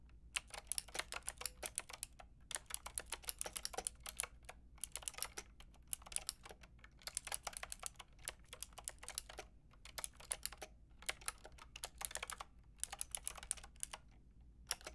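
Long painted nails and fingertips type steadily on a white-and-pink Lofree mechanical keyboard with round plastic typewriter-style keycaps and a hollow plastic case. Quick, bright plastic clicks come in bursts of rapid keystrokes separated by short pauses, over a faint low hum.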